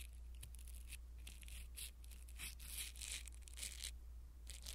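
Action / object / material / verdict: scrape / foam microphone windscreen / foam / none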